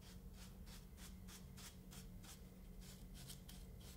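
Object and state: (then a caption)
Kinetic sand dome brushed. A paint brush strokes over a small, solid, molded dome of kinetic sand resting on a wooden board. Soft, bright, rasping swishes repeat at a steady pace over a low, constant hum, all at a quiet, even level.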